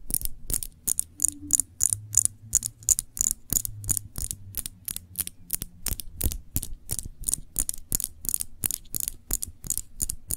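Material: Glass.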